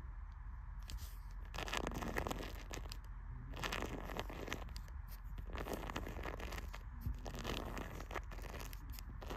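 Long red-painted fingernails scratch and scrape along the top edge of the closed paper pages of an old hardcover book with a pale green cloth cover, standing on a library shelf beside a blue cloth book. Repeated dry, rasping scrapes over the solid block of pages come in bursts, with bright crackling texture over a soft low rumble.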